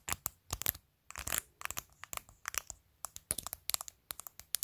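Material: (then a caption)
Plastic, acrylic. Long nails tap on the top edge of a phone in a clear plastic case covered with glued-on matte acrylic press-on nails. About twenty-two sharp, bright plastic clicks come in quick irregular clusters, some blurring into brief scratchy rattles. Each click stops almost instantly, with quiet gaps between bursts.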